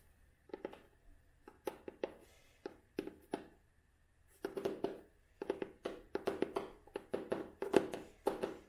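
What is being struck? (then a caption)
Cloth-covered book board. Long nails tap on the cloth-covered board cover of a closed vintage hardcover book with a beige cloth cover and red spine. The taps are soft, dull and woody, with a low-mid body and almost no ring. They start sparse, then come in quicker, slightly louder bursts toward the end.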